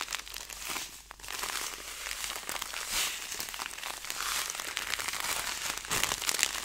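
A clear plastic zipper bag with a green seal strip, filled with dried herbs or seeds, is squeezed, crinkled and rubbed between fingers. The result is a steady, bright crinkling and crackling with fine rustling from the contents and almost no low end, swelling and easing as the grip changes.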